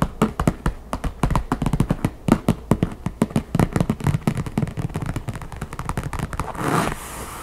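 Long fingernails tap rapidly and alternately on the top lid of a closed, hollow wooden backgammon case with a printed map covering. The result is a quick, uneven run of dry, hollow knocks with a low-mid body and almost no ring. Near the end the taps thin out and a brief, soft broadband rush swells and fades.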